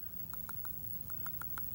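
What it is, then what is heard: Sound tooth, solid percussion. A human tooth is tapped lightly with an instrument, not a hard blow, giving a quick, even series of sharp, bright clicks over a low background hum. The tooth gives a good, solid percussion sound, indicating a sound tooth rather than the dull thud that would signal trauma from occlusion.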